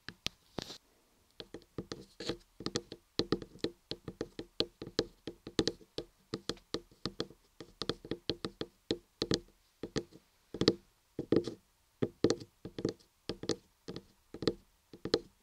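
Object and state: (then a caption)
Carved laundry soap block. Long manicured nails and fingertips tap and knock on the top of a large, solid block of white laundry soap carved into a head with ears, with a microphone inside. About 45 short, dull, woody knocks come in quick irregular runs, each with a bright nail click and a low-mid body near 324 Hz that dies away almost at once.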